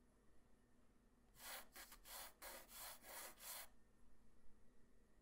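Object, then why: Graphite pencil on a paper sheet. A hand-held graphite pencil tip draws light sketch lines on a flat white paper sheet. A quick run of short, bright scratching and rubbing strokes sounds over a quiet background, then stops.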